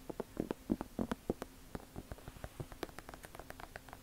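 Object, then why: Leather sneaker upper and sole. Long nails scratch and tap the leather upper and sole edge of an Air Jordan 1 leather sneaker held sole-side out. Quiet, dry, irregular taps and scrapes come in quick succession, each dying away almost instantly, with a low, muffled body.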